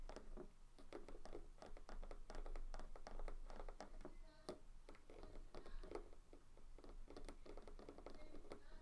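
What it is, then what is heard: Terracotta flower pot. Fingertips of both hands tap and scratch the outer rim and sides of a small terracotta clay flower pot filled with soil, standing on a white table. A steady stream of quick, dull taps mixes with dry scratching, each tap dying away almost at once. The sound stays soft and low-heavy throughout.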